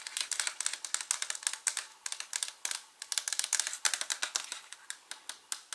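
Fingertips and short nails tap and scratch the white plastic lid of a translucent plastic H-E-B gummy vitamin bottle, hollow and partly full. A rapid run of about 39 short, dry, bright clicks and scratches is heard, each dying away almost instantly with no low end.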